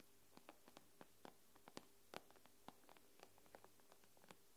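Long pink-painted nails tap and scratch the black glass screen of an iPad, a thin, solid tablet lying flat with its screen facing up. It makes a quiet, irregular string of sharp, dry clicks that stop almost instantly. A faint low hum sits underneath.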